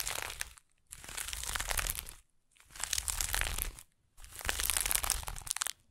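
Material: Burlap.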